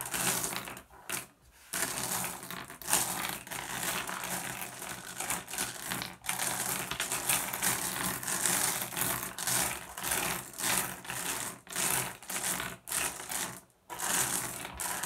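A pile of small, solid, blue iridescent flat glass gems on a wooden surface is raked and shuffled by fingertips. The result is dense, bright clicking and clattering that runs almost continuously, with short quiet gaps near the start and near the end.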